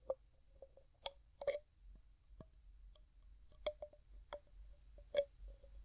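Fingers set down, twist and tap the gold metal screw lid on a medium, clear glass jar that is hollow and mostly empty. The result is a series of quiet, sharp clicks and taps, some with bright high edges, each leaving a brief hollow ring around 570 Hz. Softer scraping twists fill the gaps between the taps.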